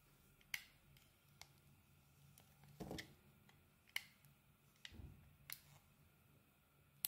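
A metal utility-knife blade shaves and scrapes thin curls off the surface and edge of a solid, hand-sized, cream-white oval bar of soap held in one hand. Sharp, bright, dry clicks and scratches come at irregular intervals, with two short, softer, fuller scraping strokes in between, all over a faint low hum.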